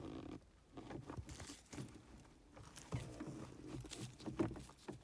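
Gloved fingers pinch, scratch and tap the folds of a black stitched leather or faux-leather gear stick boot on a car console. Soft, muffled rubs and creaks mix with brief dull taps, mostly low and warm with little brightness. The sounds come in quick, quiet bursts with short pauses between them.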